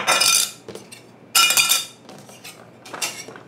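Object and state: Metal credit card, metal clink rather than plastic.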